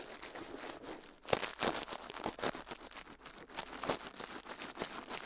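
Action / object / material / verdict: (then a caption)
scrape / toothbrush bristles on a soft silicone ear / silicone / none. A gloved hand brushes and scratches inside the left ear of a life-size soft silicone ear, mounted on a metal binaural microphone plate, with the bristles of a toothbrush, while the other gloved hand rests still on the plate. Close, dense bristly scratching and crackling fills the clip, bright and hissy, with sharper, louder strokes standing out.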